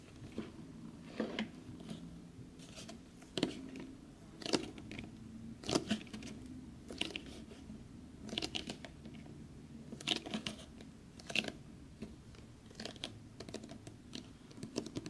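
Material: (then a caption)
Cardboard. Fingertips and short nails tap and scratch across the surface and white edge of a large glossy black printed cardboard Fallout New Vegas collector's edition box held in both hands. The sound is a quiet series of dry, crisp clicks and scratchy rasps. It has bright transient bursts over a soft low-mid body and very little ring.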